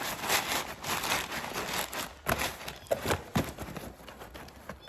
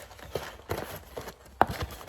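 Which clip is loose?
The second.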